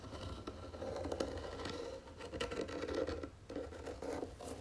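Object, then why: Round wooden box. Long nails scratch across the wooden lid of a round wooden jewelry box with gold trim on its legs. The result is a dry, steady rasping scrape with a hollow midrange tone, easing off briefly around the two- and three-and-a-half-second marks before resuming.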